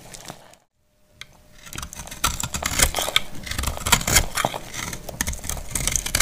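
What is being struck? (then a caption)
Bar of soap. A palm-sized, solid, dried pink speckled soap bar held in the hand is scraped and cut with a utility knife blade, and crumbly shavings fall away. After a brief faint scrape and a moment of silence, dense, bright, crackly scraping and crunching builds and continues steadily to the end.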